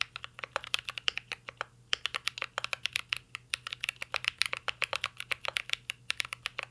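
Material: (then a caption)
Plastic. Both hands type rapidly with their fingertips on a full-size mint-green Cyberboard R3 mechanical keyboard with a metal case, LED panel and plastic keycaps, resting on a desk. The result is a fast stream of several dozen short, dry, bright clacks, with a brief pause just before the two-second mark.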